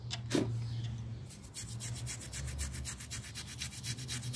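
A small round miniature pile carpet, dirty and partly wet, lies flat on a tile floor, held down by fingertips and scrubbed back and forth with a plastic toothbrush. Quick, bright, bristly rubbing strokes repeat in a steady rhythm over a constant low hum.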